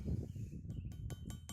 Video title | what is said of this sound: THE ultimate firewood splitting video Axes, chopping block, chopping tyre @BuckinBillyRaySmith | It sounds completely different. You see this like glass? This is hardened steel